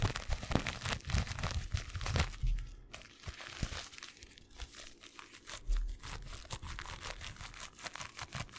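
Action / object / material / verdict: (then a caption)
scrape / paper tea bag with tea leaves / filter paper / none. A small, soft, flat filter-paper tea bag filled with tea is held up close to a microphone and crinkled and rubbed between the fingertips. It makes a steady run of dry, crisp crinkles and rustles with bright papery crackle, over low, soft thumps from the handling.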